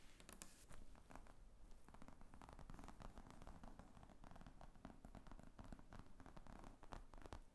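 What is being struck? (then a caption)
Padded leather laptop bag. Long painted fingernails tap and scratch across the top of a padded black leather briefcase-style laptop bag with zippers, lying flat. The result is a quiet, continuous stream of rapid, dull taps and scraping rustles with a soft, low-heavy tone and almost no ring after each contact.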